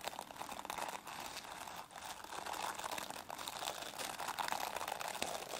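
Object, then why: Plastic bristle brush. Long nails scratch and rub the dense plastic bristles of a plastic brush, making a continuous crackling, crinkly rustle that stays bright and carries little low end. The scratching runs steadily for the whole clip, with brief dips in loudness near the one- and two-second marks.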